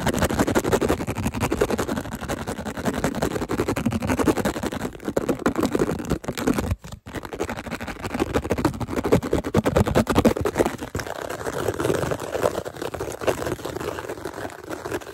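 Fingertips and nails scratch and tap rapidly on the embossed surface of a translucent, purple-tinted, hollow plastic GladWare food container lid held close. The result is a dense, continuous stream of crackly scratching and quick taps, mostly in the low-mid range with little high sheen. There is one brief pause around seven seconds before the fast scratching resumes.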